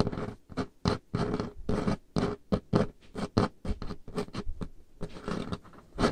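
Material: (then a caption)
Wood. Painted fingernails on both hands tap quickly across a large, solid, dark-stained wooden table top. The result is a run of dull, woody clicks and brief scratchy patters in uneven bursts. The sound is weighted toward the low end, with little brightness and a very short decay.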